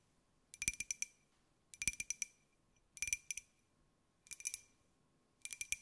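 Long nails tap a small, hollow white glazed ceramic jar with a pineapple print, held in the hands. Five short bursts of quick, bright clicking taps ring with a clear glassy tone near 2.4 kHz and higher overtones, separated by quiet pauses.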